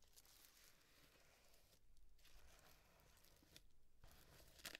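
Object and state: Paper llama piñata scratched.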